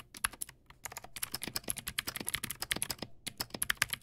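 Both hands type with their fingertips on a backlit Teamwolf Zhuque+ X08 mechanical keyboard with white plastic keycaps and clicky blue switches. The result is a quick, steady run of sharp, bright clicks with very little low end and almost no ring, with a few short pauses between bursts.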